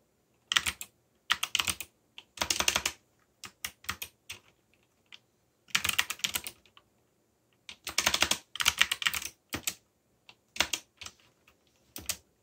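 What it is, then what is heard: Plastic mechanical keyboard. Fingertips, one finger wearing a bandage, type on a backlit mechanical computer keyboard with plastic keycaps. Bursts of rapid, bright, clicky keystrokes are separated by short pauses, each click crisp and dry with almost no low end. The typing stays steady and continuous throughout.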